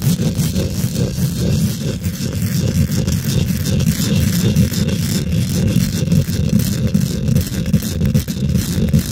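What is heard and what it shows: Fingernails quickly scratch and tap on a hollow steel mesh microphone grille. The result is a dense, continuous rumbling scrape and rattle, heavy in the low end, with rapid taps blurring together and little high brightness.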